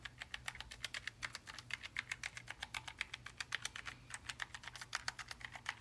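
A gloved index finger taps keys one by one on a black, low-profile Logitech G915 TKL linear mechanical gaming keyboard of plastic and aluminium lying flat. About 43 short, crisp clicks come at an uneven pace, bright and centred near 2 kHz with high crackle and almost no ring. A faint low hum sits underneath.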